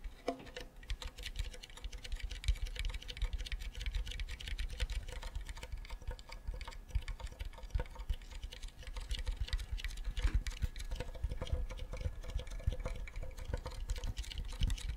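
Fingertips tap and scratch the front and back of a hollow wooden ukulele body held close to the mic, giving a steady stream of quick, dry, low knocks mixed with faint scratchy rustle. The taps are short and barely ring, with a faint tone near 500 Hz running underneath.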